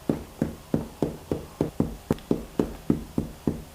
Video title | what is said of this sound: ХЛЕБ НА ПИВЕ! Такое вы ещё не пробовали! А должны! | if you can hear hollow sound - it is ready